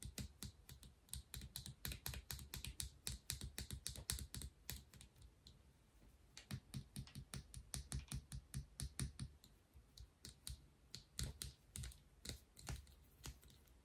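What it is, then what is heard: Metal lipstick tube tapped with nails. Long nails tap and scratch along a small rose-gold metal lipstick case held between the fingers. Quick, dense clicking taps with bright, short transients run over a low thudding body, easing briefly around the middle before picking up again in sharper bursts.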